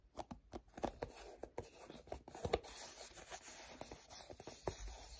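A hand-sized, cream-colored plastic lotion tube, hollow and partly filled, is gripped and rubbed with fingertips and short nails, with sticky fingers. The result is a quiet run of short, dry ticks and crackly clicks from the sticky contact over a soft, continuous scraping hiss.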